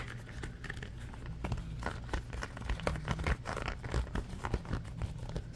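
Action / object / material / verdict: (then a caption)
scrape / ribbed silicone trivet mat / silicone / none. A red ribbed silicone trivet mat is held up and bent in the hands while fingernails scratch and squeeze its ridged surface. The result is a rapid run of dry, crinkly scratches and soft rubbery rasps over a steady low rumble, with no speech.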